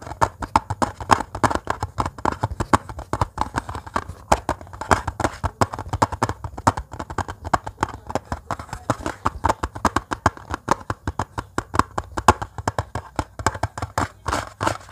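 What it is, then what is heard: Metal cookie tin lid tapped with fingernails. Fingernails tap and click rapidly on the hollow metal lid of a round, embossed butter-cookie-type tin held upright in the hands. The steady stream of short, dry clicks has a hollow metallic tone around 1 kHz that dies away almost instantly after each tap.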